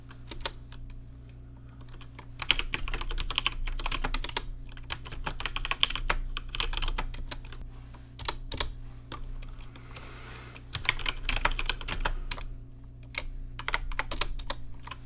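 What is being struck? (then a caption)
Mechanical keyboard with plastic keycaps. Fingertips type on a rainbow-lit plastic RGB mechanical keyboard with plastic keycaps, making quick, irregular bursts of sharp, bright clicks that clatter around 3 kHz. A steady low hum sits underneath throughout, with a brief soft hiss between the typing bursts near the ten-second mark.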